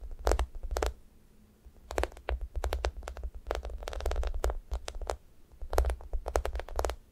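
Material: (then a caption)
Foam. Long nails poke, tap and scratch the top of a thick, solid, sticky foam squishy toast toy. Quick, sharp ticks and scratchy strokes arrive in uneven bursts over a soft low rumble, with brief quiet gaps between clusters. Each tap dies away almost instantly.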